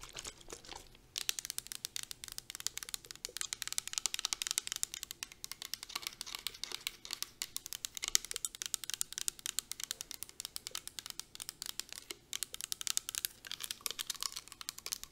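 Long nails tap quickly on the sides and bottom of a clear plastic Victoria's Secret body mist spray bottle that is partly filled with liquid. The result is a fast, steady stream of crisp, bright clicks and light crinkly ticks, with almost no low end and no ring after each tap.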